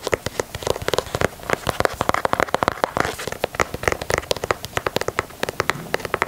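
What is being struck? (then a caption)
Leather sneaker. Fingernails tap and scratch the perforated toe box and side panel of a black and white leather Nike Dunk sneaker. A rapid, steady run of sharp, dry clicks, each dying away instantly, mixes with soft scratchy rustling between the taps.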